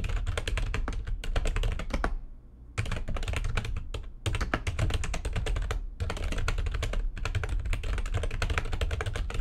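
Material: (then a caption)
Plastic. Fingertips with long nails type fast on the keys of a full-size, low-profile, backlit plastic computer keyboard resting on a desk. Rapid, dry, sharp clicks and clacks come in dense bursts, with a short pause just after two seconds and brief breaks around four and six seconds. A steady low hum runs underneath throughout.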